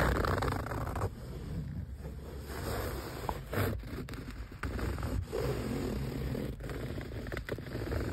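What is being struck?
Woven fabric car seat.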